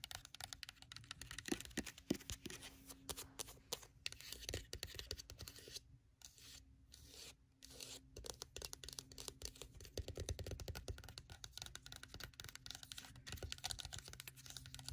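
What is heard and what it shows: Long pointed red and burgundy nails tap quickly over a hollow, dark grey oval clamshell eyeglasses case with a hard shell covered in faux leather. The result is a dense, dry stream of crisp clicks and scratchy taps with a bright edge. A faint steady low tone runs beneath, and the tapping thins into a few brief pauses partway through before picking back up.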